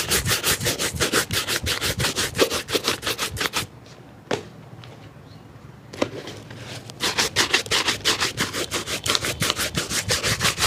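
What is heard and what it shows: A hollow, empty black leather shoe held by hand is brushed rapidly with a wooden-backed bristle shoe brush, making bright, hissy back-and-forth strokes in a quick, steady rhythm. The brushing stops for a few seconds of near-quiet broken by a couple of sharp taps, then resumes at the same rapid pace.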